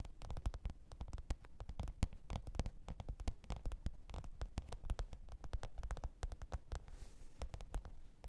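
Long pointed nails tap and scratch the top of a black, textured faux-leather hard-shell microphone case with a zipper, lying flat on fur. Rapid, quiet taps come in a dense, uneven stream, each short and dull with a low thump. Near the end, a brief soft scratchy hiss comes through.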